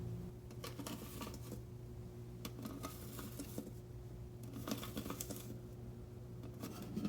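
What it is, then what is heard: Metal container tapped. A metal container holding dried leaves is tapped, giving bursts of light, bright metallic clicks and clatters as the metal keeps clapping. The hits are short with almost no ring, and a steady low hum runs underneath throughout.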